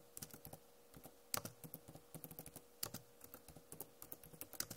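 Fingernails tap across the plastic keycaps of a backlit Acer laptop keyboard in an uneven run of short, sharp clicks. The clicks have bright high edges, die away almost instantly, and sit over a faint steady hum, with a few louder taps standing out from the rest.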